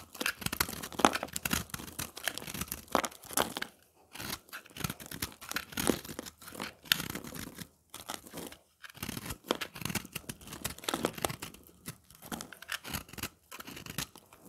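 A utility knife blade scrapes and shaves a round, dry puck of pressed green and yellow recycled soap held in the hand, breaking off flaky curls. Quick, dry, crunchy scraping and crackling strokes come in dense bursts with brief quiet pauses, with a bright, crisp texture and almost no ring.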